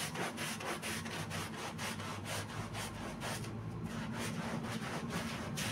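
A gloved hand vigorously scrubs a wet, foamy black-and-red pile rug with a green handheld bristle brush. Rapid, somewhat uneven back-and-forth strokes make bright, hissing, wet scrubbing sounds over a steady low rumble. The level stays fairly constant throughout.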